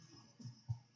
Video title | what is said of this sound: Chef's Kitchen - How to make Viennese Bread | It should have sort of a hollow sound to it, which this does.